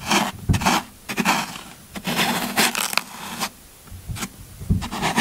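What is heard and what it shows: A yellow-handled metal scraper scrapes and carves the end of a solid green floral foam brick held in one hand. It makes a series of short, dry, crunchy rasping strokes with bright hiss and a little low thump, separated by brief quiet gaps.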